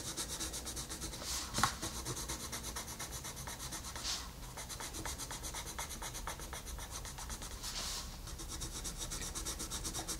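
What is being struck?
Wooden colored pencil on a paper page.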